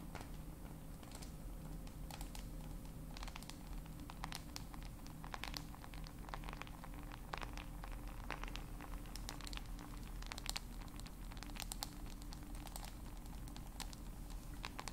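A small black smartphone in a black case, held in both hands, is tapped with long nails. Quiet, sharp, irregular taps and clicks with a scratchy, crinkly edge repeat throughout, over a steady low hum.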